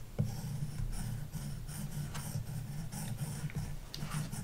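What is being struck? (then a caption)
Plastic stylus on glass tablet screen with matte protector. A plastic stylus tip scribbles back and forth across a large iPad glass touchscreen fitted with a paper-like matte screen protector, lying flat on a wooden desk. It makes a steady, low, dull rubbing with bright scratchy bursts as the strokes change direction, holding an even level throughout.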